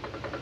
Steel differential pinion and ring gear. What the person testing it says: you should hear that little clickety clickety clickety click